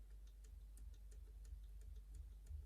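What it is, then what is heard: Springy lock lever. A pick taps repeatedly on the third lever, a four cut, inside an Ingersoll lever lock to check whether it springs back. Quiet, light metallic ticks repeat at a steady pace over a low background hum. The lever proves springy.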